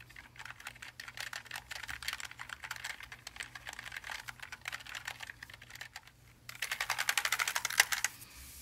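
Gloved hands type on a backlit Logitech G915 TKL plastic and aluminium mechanical keyboard with linear switches. A steady run of quick, bright key clicks is heard, with a brief lull before a louder, faster burst of typing. The hands then come to rest beside the keyboard as the clicking stops.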